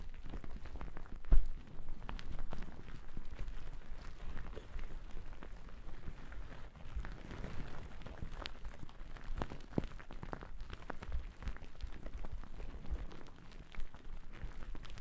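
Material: Cotton.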